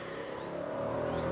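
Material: Nothing is struck.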